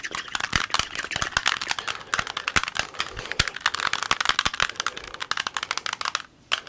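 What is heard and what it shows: Fingertips quickly twist the layers of a small, solid plastic Rubik's cube with colored stickers, held close to the mic. It makes a rapid stream of sharp, bright clicks and rattles, with a brief near-silent pause before one last click at the end.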